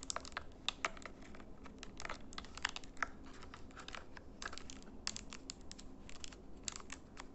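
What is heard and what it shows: Fingernails rapidly tap and press the membrane buttons of a small plastic RGB LED IR remote control. The result is a quick, uneven stream of short, dry, bright clicks over a faint, steady low hum.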